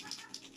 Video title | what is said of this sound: hahaha naloloka na si Eulla kakahula Full HD 1080p | pinakaalog ko. Ito yung may laman.